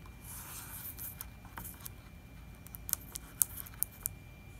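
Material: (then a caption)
Plastic. Fingertips and nails tap and scratch the glossy plastic label and wall of a large, apparently full 4-liter plastic distilled-water jug. Soft, airy scratching fills the first half, followed by quiet, sharp, bright clicking taps that stand out over a low rumble and a faint steady tone.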